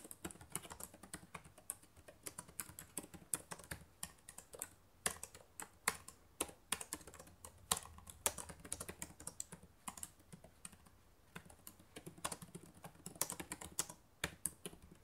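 Fingertips with long nails type fast on the plastic keys of a black laptop keyboard. A steady stream of short, sharp, bright clicks and taps runs throughout, with some louder keystrokes standing out, each dying away almost instantly.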